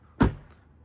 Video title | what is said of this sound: 2024 BMW 530i xDrive M-Sport FULL Review /// The Perfect Balance of Luxury & Performance? | you will notice an incredibly nice door sounding thunk